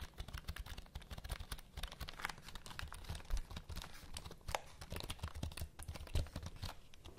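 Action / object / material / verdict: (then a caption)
tap / plastic computer keyboard / plastic / none. A black plastic computer keyboard with a cable is held upright while long nails rapidly tap and scratch across its keys. The result is a dense, continuous run of short, dry clicks and scrapes with a thumpy low end and bright crackly edges, with no ring after each hit.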